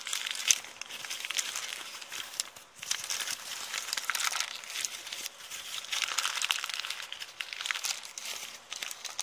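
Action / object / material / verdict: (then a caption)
scrape / kraft paper bag / paper / none. An empty, heavily crumpled brown kraft paper bag is squeezed and crinkled with the fingers and long nails. It makes a steady, dense crackling and crinkling that is bright and papery, with almost no low end. Small sharp snaps stand out now and then over the continuous rustle.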